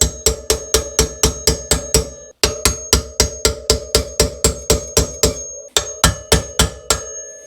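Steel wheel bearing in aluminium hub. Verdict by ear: Seated.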